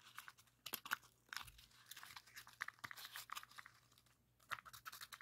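A rainbow heart origami pop-it of folded colored paper is held in both hands while thumbs press its hollow red and orange paper bubbles. The bubbles give a rapid, uneven series of soft, dry pops and crisp crinkles that are bright and papery, with almost no low end. Each snap dies away instantly between quieter rustling.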